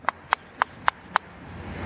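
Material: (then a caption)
Glass. Five sharp knocks on the glass of a new rear-view mirror for a citycoco electric scooter, tapped to show that the glass is thick. Each knock is a short, dry click centered near 1 kHz that dies away almost instantly with no ringing. The solid, damped sound marks the mirror as thick and well built.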